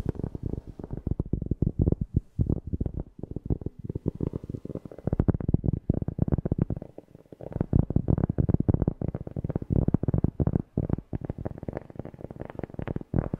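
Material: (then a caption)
Cork. A cork object is tapped rapidly right next to a FIFINE K690 microphone, producing a dense stream of deep, bassy, dull thumps around a low 150 Hz pitch with almost no high end. The taps come in quick irregular bursts with a few brief pauses, and each thump dies away almost instantly.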